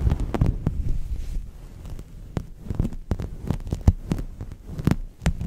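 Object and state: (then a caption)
Microfiber cloth. A large, soft, flexible purple synthetic microfiber cloth is draped over a microphone and rubbed and scrunched against it with the fingertips and palms of both hands. This produces deep, muffled thumping and rumbling bursts, with irregular soft thuds and brief crackles over a low, throbbing hum.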